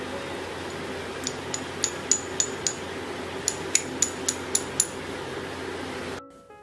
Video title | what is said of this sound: ఆరోగ్యకరమైన 3 రకాల స్వీట్లు సులభంగా రుచిగా తయారు చేయవచ్చు అండిDry Fruit Laddu-Palli Chikki In Telugu | ఇది గట్టిగా అయ్యి కొడితే టంగుమని సౌండ్ వస్తుంది విరిపితే విరుగుతుంది